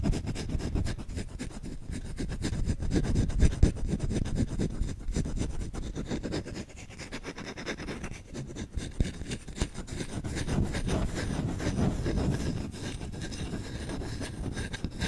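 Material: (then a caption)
Wood. Short nails scratch fast and hard across the bowl of a solid wooden spoon with visible grain rings. The result is a dense, dry, rapid rasping that is mostly low and muffled with little brightness. It swells louder and fades back in uneven waves without pause.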